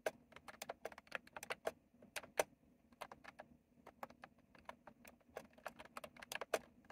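Both hands type with their fingertips on a retro plastic mechanical keyboard with round plastic keycaps, producing a steady run of about 29 sharp, clacky keystrokes. Each click is short and bright with a hollow plastic tone around 600 Hz and dies away almost instantly, over a faint low background.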